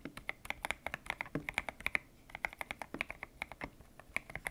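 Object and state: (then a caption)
Mechanical keyboard with PBT plastic keycaps. Fingertips type on a white-cased mechanical keyboard with grey and pink PBT plastic keycaps, its hollow case resting on a desk mat. About thirty crisp, bright clacks come in a quick, uneven rhythm with a brief pause midway. Each keystroke has a sharp tone near 2 kHz, dies away almost instantly, and carries little low end.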